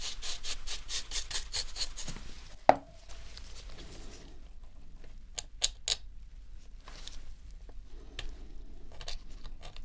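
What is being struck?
Plastic game controller.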